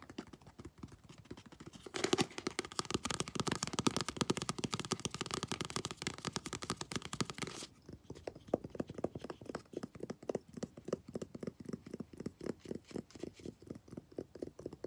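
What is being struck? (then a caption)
Paperback book with glossy card cover. Long blue nails tap and scratch the glossy cover and spine of a paperback book held in the hands. Soft, light tapping gives way to a dense, bright scratching from about 2 to 7.5 seconds. It then returns to quick, dry, evenly paced taps that continue to the end.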